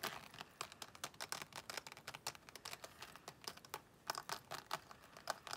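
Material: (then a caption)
Faux leather. Long nails tap and scratch quickly across the face and edge of a closed, thin, flat, glossy pink croc-embossed faux leather wallet. The result is a rapid, uneven run of sharp, crisp clicks and dry scratchy crinkling with almost no low end.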